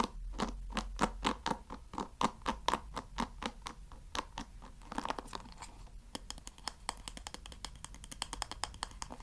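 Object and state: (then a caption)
Wooden hair brush pins scratched. Fingertips scratch and rub the wooden pin bristles of a wooden paddle hair brush. Sharp, dry scratching strokes come in a loose rhythm for the first five seconds, each with a crisp, bright edge and a mid-pitched wooden body. They then give way to faster, quieter, denser raspy scraping.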